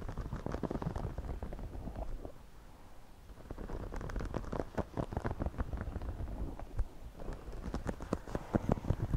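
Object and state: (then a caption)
Woven straw hat being scratched. Fingertips and nails scratch and rub the crown and brim of a white, wide-brim, woven straw floppy hat being worn on a man's head, captured by earbud mics under the hat. Close, muffled, bass-heavy crackles and quick tapping scratches come in dense bursts, easing into a quieter lull midway before picking up again.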